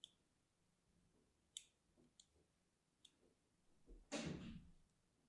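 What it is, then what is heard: Soap bar scored with a pin. A thin metal needle or pin scratches and scores the surface of a small, solid orange-and-white striped soap bar held in the hand. Four sharp, bright ticks are spaced out over a quiet background, then a fifth, longer and louder scrape follows. It carries a low, soft body and fades quickly.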